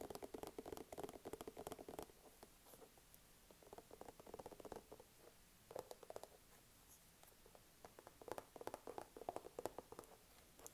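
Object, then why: Small soft plastic squeeze tube. A small, soft plastic skincare squeeze tube is held close and tapped quickly with fingertips and nails, producing quiet, dry, patter-like clicks centered in the midrange around 500–600 Hz with bright edges. The tapping comes in dense bursts with brief pauses between them, and each tap dies out almost instantly.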